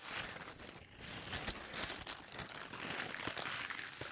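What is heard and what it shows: A thin sheet of white tissue paper is balled up in the hands, then squeezed and crumpled with the fingertips and long nails. The result is a steady, bright crinkling and rustling with sharp little crackles throughout and almost no low end.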